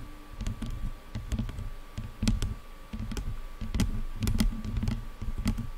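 Long nails tap rapidly on top of the black padded plastic headband of over-ear headphones, making a quick run of dull, low thumps with faint bright clicking edges. The taps come in dense, uneven bursts that die away almost instantly, over a steady faint hum.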